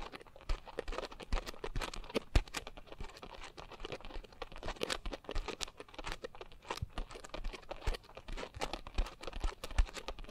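A pink coarse foam scrub sponge is gripped at the sides while fingertips and nails squeeze and scratch the porous foam. The result is a quiet, continuous run of dense, crackly scratching and crinkling, broken by many sharp, short bursts with no ring after them.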